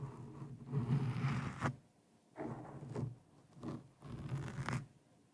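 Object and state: Foam microphone windscreen being scratched.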